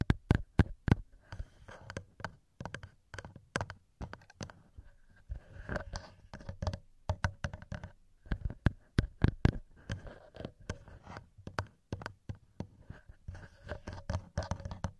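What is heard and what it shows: Fingertips tap and scratch directly on the metal microphone capsules of a handheld recorder, with hands cupping over the capsules at the end. The sound is a dense run of short, close, dull taps and thumps, heavy in the low end near 113 Hz with little ring. Softer scratchy rustles run between the hits.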